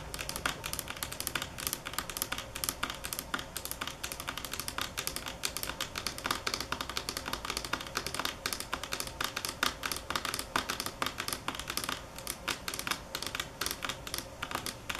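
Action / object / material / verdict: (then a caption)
tap / stone countertop / granite / none. A solid speckled stone countertop, marble or granite, is tapped with the long nails of both hands. A dense stream of rapid, sharp clicky taps continues throughout, bright and dry with almost no ring and little low end.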